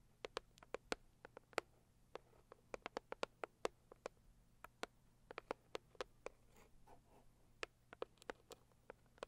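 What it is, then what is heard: Cardboard box tapped with fingernails. Long acrylic nails tap and scratch across the lid of a medium, closed, hollow pink floral printed cardboard gift box. About 34 sharp, dry clicks with a hollow midrange body and bright tips die out instantly, with soft, faint scratching between them. The sound is quiet and close, with almost no low end.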